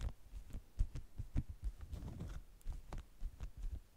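Long nails tap rapidly and scratch the waxy top layer of a folded stack of beeswax-coated cotton food wraps. The result is a quick run of soft, dull, low thumps, with faint high scratchy streaks between them.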